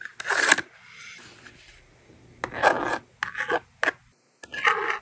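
A yellow plastic stylus writes numbers across the honeycomb screen of a small blue and pink plastic magnetic doodle board held in hand, and the screen is erased with the slider. Short, bright, scratchy strokes come in bursts separated by brief quiet gaps, with a faint softer rub between them.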